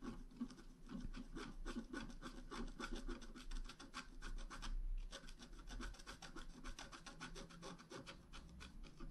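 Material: Coated paper.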